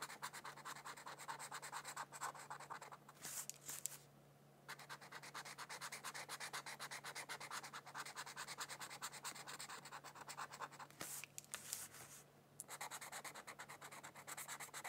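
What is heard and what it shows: A felt-tip marker scratches and rubs across a thin white paper mandala coloring sheet lying on a book, making quick, dense, bright scratchy strokes. The strokes stop briefly twice, near 4 and 12.5 seconds, over a faint steady low hum.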